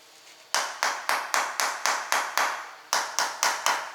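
A rubber mallet taps the edge of a ceramic entrance floor tile 12 times at a steady pace. Each strike gives a short, solid knock with no low boom and a quick decay, the sound of a normal, fully bonded tile.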